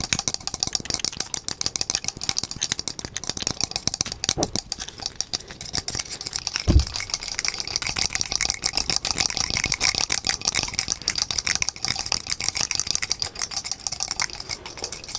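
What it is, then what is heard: Wooden block desk calendar. A small painted wooden perpetual desk calendar, with a red frame, loose cream number blocks on a wooden base and a small cartoon dog figurine on top, is held in both hands and shaken quickly. The loose blocks rattle inside the frame in a dense, bright, continuous clatter of rapid wooden clicks, with one heavier knock partway through.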